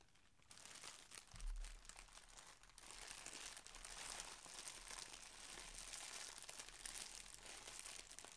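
A thin, clear polyethylene shipping bag with a red Target logo, wrapped tightly around a folded striped garment, is squeezed and crinkled by both hands, using fingertips and short nails, on a cloth-covered table. Continuous bright, crackling plastic crinkles fill the clip, with a soft low thump near the start.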